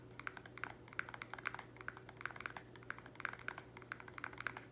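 Fingernails tap rapidly on the walls of a small, empty, square black plastic nursery pot held in the air. The quick, dry, hollow clicks have a tone near 1.5 kHz and bright edges, and each one dies away almost instantly. A faint steady low hum runs underneath.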